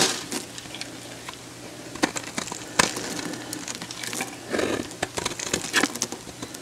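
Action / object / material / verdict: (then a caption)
scrape / bar of soap / soap / none. A hand-sized, dried, solid light-blue soap bar, already scored into cubes and held in one hand, is cut with a metal box-cutter blade. The blade produces a run of dry, bright crackles and sharp snaps, with a few louder cracks standing out over a soft crumbly texture.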